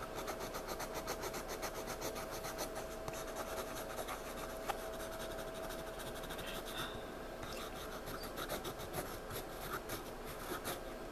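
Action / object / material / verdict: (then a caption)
scrape / pencil on paper sketchpad / paper / none. A pencil scribbles and shades across the page of a spiral-bound paper sketchpad lying flat, giving a steady, scratchy rubbing of lead on paper. The quiet, broadband hiss pulses with rapid back-and-forth strokes, with a few slightly sharper scratches along the way.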